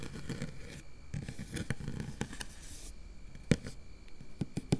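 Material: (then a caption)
Metal mesh. Long nail tips on both hands scratch quickly over a round, hollow metal mesh microphone grille. The result is a dense, irregular scratchy rustle with a heavy low-end rumble and a thin, faint high hiss. It is broken by a few sharp, short clicks toward the end.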